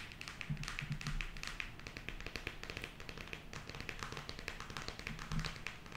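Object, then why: Cardboard eyeshadow palette. Long acrylic nails tap rapidly on a closed, flat, rigid square cardboard eyeshadow palette with a printed glossy cover, held in the hand. The result is a dense, steady stream of quick, crisp clicks with a bright edge and a soft, hollow low thud beneath. Each tap dies away almost at once.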